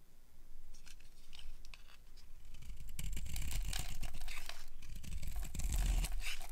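A solid, dry yellow bar of soap held in a hand with long painted nails is carved with a metal utility blade, scraping off crumbly shavings. A steady series of dry scraping and crackling strokes grows louder after the first few seconds, with a low rumble underneath.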